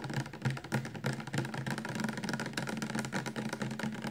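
Fingertips and nails tap quickly on the sides of a full, upright 400 mL clear plastic shampoo bottle. The taps come in an uneven, rapid stream of short, dull knocks with a low, hollow body tone and little ring.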